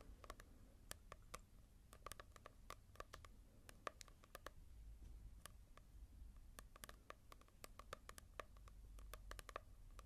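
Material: Coated paper.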